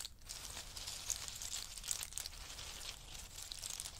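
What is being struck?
Pile of in-shell pistachios.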